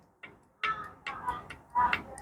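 Number 3 piston in a Nissan ZD30 engine is rocked by hand inside its scored, worn steel cylinder liner, giving a series of short, dry knocks with bright clicky edges as it shifts loosely back and forth. The piston moves a lot, and the piston ring and liner are judged faulty and both need replacing.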